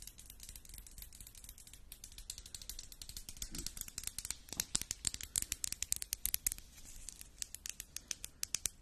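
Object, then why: Small quartz stone egg. A small solid pink rose quartz egg is held in the hands near the microphone and tapped with long pink acrylic nails. The result is a run of quiet, sharp, bright clicks with very little ring. The taps start soft and dense, then become louder and more distinct from about the middle of the clip.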